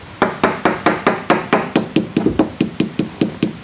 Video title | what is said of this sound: What condition is this boat actually in? [S4E3] | Here instead we have a void. You can hear that it's hollow.